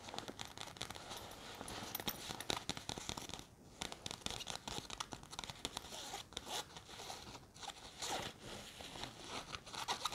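Long red nails scratch and rub the surface of a large, hollow grey nylon sports backpack with a white zip pocket and logo, and handle the zipper area. The result is a dense, bright stream of quick raspy scratches and rustles with zipper-like rasps and little low end, briefly dipping quieter around 3.5 and 7.5 seconds.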